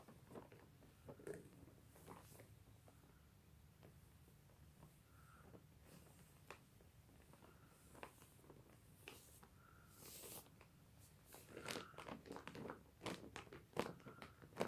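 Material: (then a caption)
Plastic film. A soft, filled, printed lemur cushion sealed in thin clear plastic wrap is traced and brushed with fingertips and a small dark brush. The touches make quiet, irregular, crinkly scratching and brushing strokes with bright hiss, growing louder and busier in the last few seconds.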